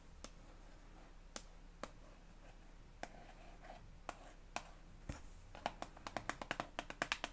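Long acrylic nails tap on a hand-sized, hollow, white and green soft plastic elmex toothpaste tube filled with paste. Sharp, bright clicks with very short ring sound at first as sparse, scattered taps over a low, steady hum. Near the end they speed up into a quick, dense run.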